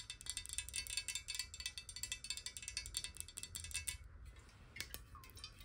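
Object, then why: Glass water bottle. A clear square glass water bottle, held in the hands, is tapped quickly with long nails on its corners and sides. A rapid run of bright, clicky taps rings briefly around 2.2 kHz over a low rumble, then thins to a few scattered taps after a short pause near the four-second mark.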